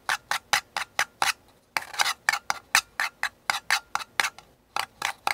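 Painted fingernails and fingertips tap and scratch the outer wall of a small, empty, hollow paper cup, white with a blue flower print, held tilted in one hand. About twenty-one short, dry, bright clicks come in uneven bursts with a scratchy rasp between some of them and almost no low end. Each tap stops almost instantly with no ring.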